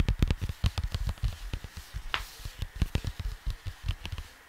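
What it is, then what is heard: Cardboard record sleeve. Fingertips of both hands tap rapidly on a cardboard vinyl record sleeve (LP jacket), giving a quick run of soft, dull thumps. The taps are low and boomy with very short decay, each carrying a faint papery click on top.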